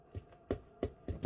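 A hand reaches into the cavity of a Thanksgiving turkey being prepared and taps on the roof of the cavity, giving several dull, low, short knocks with almost no ring. The tapping shows that spot is bone, which does not need to be marinated.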